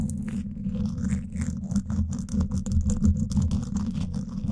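Two thin wooden sticks scratch both sides of the woven steel mesh grille on a Blue Yeti microphone's hollow dome. The result is a steady, dense, low rumbling scrape with an uneven rhythm of fast strokes and faint bright ticks above it.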